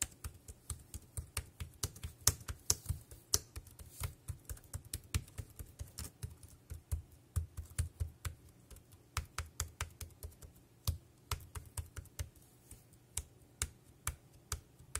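Fingertips type on a dark grey plastic wireless keyboard with round keys, producing a quick, irregular stream of short clicks. Each keystroke has a dull low thump with a bright, crisp click on top, and it dies away almost instantly over a faint low hum.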